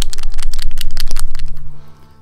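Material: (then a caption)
Plastic, steel. A tall, thin plastic Vallejo paint dropper bottle holding a non-rusting steel ball bearing is shaken. The result is a rapid, bright rattle of clicks as the metal ball knocks inside, mixing the paint, which fades out after about two seconds over a low steady hum. The rattle confirms the ball is inside and doing its job.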